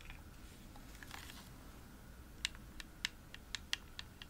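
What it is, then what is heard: Plastic game controller tapped with nails. Long nails tap repeatedly on the hollow shell of a pink glossy plastic Xbox controller. After a soft, faint scratchy rustle, a series of sharp, bright, dry clicks follows, each stopping almost instantly over a low background hum.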